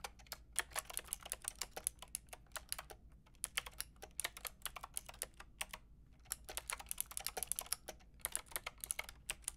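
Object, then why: Plastic mechanical keyboard. Rapid typing on a Lofree mechanical keyboard with a white plastic case and round pink and grey plastic keycaps, struck with fingertips and long red nails. It produces a dense stream of short, bright plastic clicks and clacks over a faint low hum, with a brief lull just before the typing picks back up.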